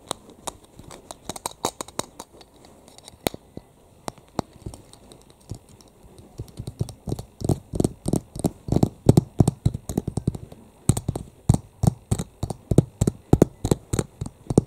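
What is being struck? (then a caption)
Plastic keychain tag with metal ring. Long fingernails rapidly tap and scratch a flat, solid yellow plastic keychain tag with a printed portrait and a metal ring. Dozens of short, dry clicks with almost no ring grow from sparse and soft to denser and louder after about six seconds, with faint scratching between taps.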